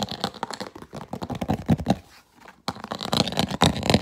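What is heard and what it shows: Fingernails rapidly tap and scratch an empty, hollow clear plastic food container with an orange vent lid, held in both hands. The result is a dense run of short, dry clicks and scrapes with a hollow low body and bright edges. A brief near-silent pause comes near the middle before the tapping resumes.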